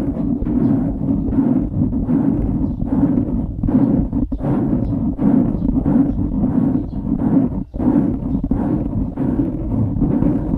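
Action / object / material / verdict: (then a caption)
scrape / foam microphone windscreen / foam / none. Fingertips scratch the sides of a dark grey foam windscreen on a microphone. The result is a steady, muffled, dense rustling and scrubbing with a heavy low-mid body and almost no brightness. It is briefly interrupted by short dips around 4.3 and 7.7 seconds.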